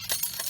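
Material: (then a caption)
Steel. A steel ramrod is let go most of the way down a steel flintlock musket barrel and drops onto the breech face, giving three bright, high metallic pings. The clean ping shows the breech is clear of powder or a ball.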